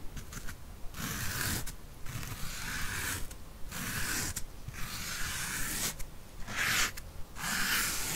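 Long painted nails scratch and rub a soft, porous, rectangular yellow foam sponge block in repeated strokes. Each stroke gives a bright, airy, rasping scrape, separated by short quieter gaps, over a low rumbling background.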